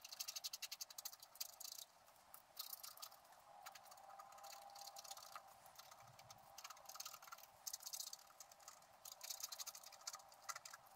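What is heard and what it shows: A wooden stylus, held in the fingertips, scratches orange fur lines into the black squirrel coating of a flat wax-coated scratch-art card in steady strokes. Rapid, dry, bright scratching comes in dense bursts of short strokes, with brief quieter pauses between runs.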